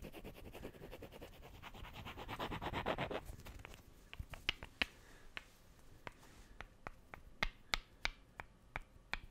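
Two small, solid, light wooden cubes are rubbed and clicked together by hand close to the mic. A dense, fast scratchy rubbing with rapid ticks builds in the first three seconds, then gives way to sharp, bright, separate clacks at an irregular pace over a quiet background.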